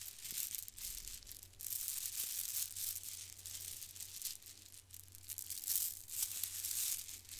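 Long strands of small white glossy plastic faux-pearl beads, solid beads on string, are held in both hands while fingers run through them and shake and rattle them close to a microphone. The result is a quiet, continuous, bright clicking rattle that rises and falls in swells, with a faint low hum underneath.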